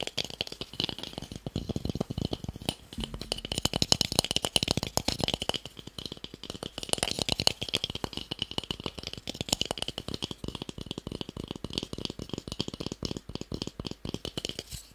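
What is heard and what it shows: A small, solid, light wooden cube held close to the mic is tapped fast with fingertips and nails. The result is a continuous stream of dry, very short clicks with a bright, woody ring around 3 kHz and a soft low thump under each tap. The taps keep a steady, busy rhythm, surging slightly louder in bursts.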